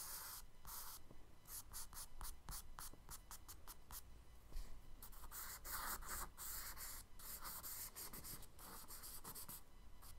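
A charcoal stick is scratched across a kraft paper page in a spiral sketchbook in quick horizontal strokes to draw ripples. The result is a rapid series of dry, bright, scratchy rasps, with short pauses between strokes, over a faint low hum.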